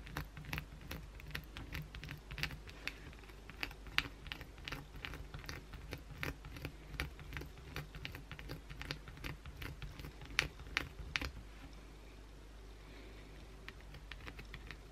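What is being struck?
Bar of soap scratched with acrylic nails.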